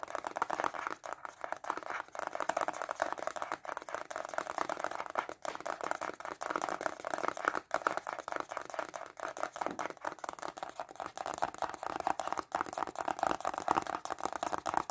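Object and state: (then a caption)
Cardboard box, fast fingernail tapping. Short fingernails tap fast on a small, hollow white cardboard stylus pen box held upright. The result is a steady, dense stream of quick, dry, papery clicks with a hollow midrange tone that continues without pause for the whole clip.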